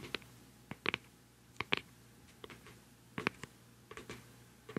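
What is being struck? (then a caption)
Plastic cosmetic pad jar with screw lid. Long nails and fingertips tap the black screw lid of a round, palm-sized, hollow white plastic cosmetic pad jar held beside the microphone. About thirteen sharp, bright, dry clicks come in irregular pairs and singles, each stopping almost instantly against a quiet background.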